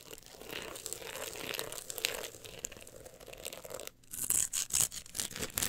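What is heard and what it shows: Long acrylic nails scratch the woven-look embossed cover of a solid, closed book held resting on pink fur. A steady, bright, dry rasping runs for about four seconds, drops out briefly, then returns as louder, sharper strokes with crisp high edges.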